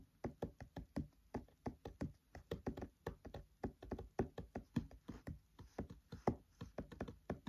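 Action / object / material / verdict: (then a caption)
tap / open paperback book pages / paper / none. Fingertips tap and knock on the pages of an open paperback book, close up, in a quick rhythmic pattern. Each hit is a short, dry, soft thump with a low body and almost no ring, and the taps repeat steadily for the whole clip.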